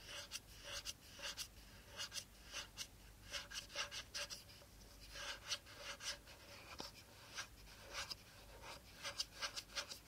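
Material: Plastic.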